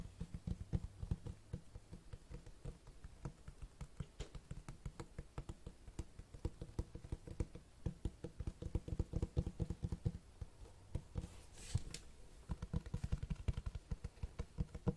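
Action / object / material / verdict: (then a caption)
tap / hardcover book with cloth-textured cover / cloth, board / none. Fingertips tap and scratch the cloth-textured cover of a large black Berserk hardcover book. Rapid, dull, low taps with almost no ring come in steady bursts throughout, with a soft scratching rustle between them.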